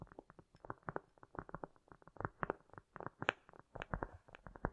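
Long nails tap and scratch quickly on a round, solid cork disc, with an echo effect added. About nineteen short, dull mid-range taps come in a rapid, uneven run, a few landing brighter and sharper, with soft scratchy texture between them.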